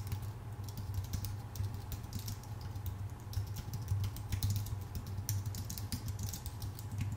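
Fingertips of both hands type steadily on a full-size white Apple Magic Keyboard with numpad, a thin aluminium base with plastic keycaps, resting on a dark desk. Quick, light, bright key taps patter continuously over a steady low hum near 98 Hz.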